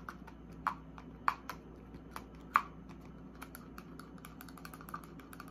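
Long acrylic nails tap and scratch a small white plastic eye cream pump bottle with a paper label, held in the hand, striking both the bottle and its cap. Crisp, short clicks come at an uneven pace, with a few louder taps standing out among lighter ticks and faint scratching, over a quiet steady low hum.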